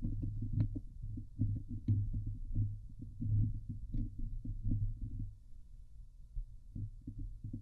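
Long glittery nails scratch the hollow metal mesh grille of a Blue Yeti microphone, making close, muffled scraping and thumping with a low, boomy hum. The strokes come in quick, irregular bursts, with a few brief, brighter clicks cutting through the dull rumble.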